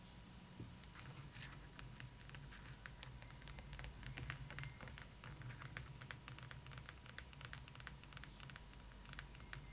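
Long pointed acrylic nails on both hands tap and scratch the face, cheeks and forehead of a large, hollow, hard plastic/vinyl Rapunzel-style fashion doll head lying on a pillow under a blanket. The result is a quiet stream of rapid, sharp, bright clicks and light scratches over a steady low hum and a faint constant tone near 1 kHz.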